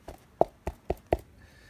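Cornstarch and water fluid, held at an angle, is struck five times. Each hit gives a short, dull tap with a mid-range knock and almost no ring. The fluid acts as a solid under the impact and stays off the fingers.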